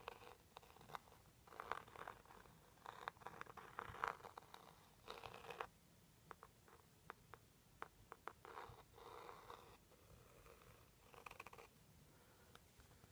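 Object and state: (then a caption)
Cardboard jewelry box. A small, hollow turquoise cardboard jewelry gift box, held up by hand, is scratched and tapped with the pointed tip of a white plastic stick-like tool, then tapped with the fingers. Quiet bursts of dry, papery scratching in the mid range alternate with short, crisp clicking taps that die away almost instantly.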